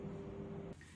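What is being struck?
Nothing is struck.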